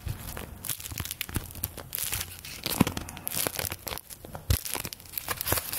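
A stack of thin paper play-money bills is held close and rubbed and crinkled with fingertips and long nails. The result is dense, bright crinkling and crackling with sharp tearing-like snaps, over soft low handling thumps.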